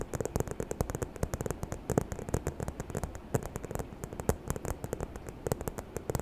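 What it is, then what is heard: Faux leather handbag. Long nails rapidly tap and scratch the front of a small, hollow, white croc-embossed faux leather bag with gold hardware held in both hands. The result is a quick, uneven stream of short, dry clicks with a soft low thump and a bright tick on each tap. Faint scratching rustles in between, and every tap dies away almost instantly.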